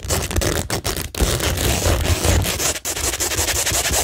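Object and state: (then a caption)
Rhinestone-covered cork board being scratched. Long nails scratch quickly across a flat, solid framed cork tingle board covered with a pink rhinestone mesh sheet and pearl and gem stickers. The result is a dense, continuous scraping texture with bright, hissy grit over a low rumble, broken only by a few brief pauses.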